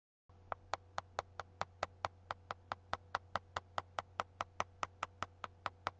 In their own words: Tapping on a book with one nail.